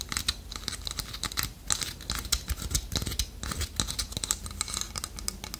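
Long nails tap quickly on the beak of a small, solid, polished dark wood toucan carving held in the hand. The result is a dense run of rapid, dry clicks with bright, high tones and a soft low thump beneath them, each tap dying away almost at once.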